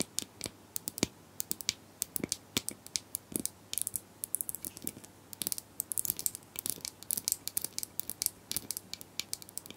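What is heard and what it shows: Plastic brushes are tapped and scratched, making a rapid, irregular stream of sharp, dry clicks and crackling scratches. The sound is bright and crisp with little low end, and each tap dies away almost instantly against a quiet background.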